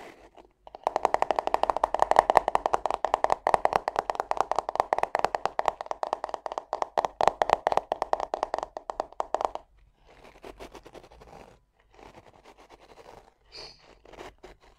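Fingernails tap and scratch rapidly on the back of a black plastic paddle hairbrush with dense bristles, held in the hand, making a fast run of dry, crisp clicks centered in the mids that stop abruptly just before ten seconds. After that come softer, scratchy rustling bursts, likely as the nails run across the bristles, separated by short pauses.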